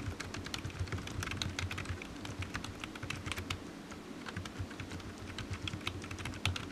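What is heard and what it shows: Fingertips of one hand type on a solid, black, low-profile plastic computer keyboard resting on a desk mat. The result is a steady, rapid stream of soft, short clicks with bright clacky tops over a low, muffled thud from the mat.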